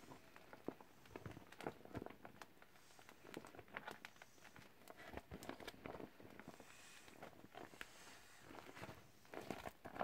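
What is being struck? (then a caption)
Partly inflated vinyl beach ball handled with gloves. Gloved hands squeeze and crinkle a hollow, partly inflated teal clear vinyl beach ball. Quiet, irregular bursts of crinkly plastic crackles and soft squeaks come in uneven clusters throughout, each dying away almost at once with no ring.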